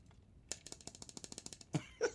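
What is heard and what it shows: The rim of a drink cup holding ice is tapped with a quick, even run of light, bright ticks that die away almost instantly. Two louder, fuller knocks close the clip.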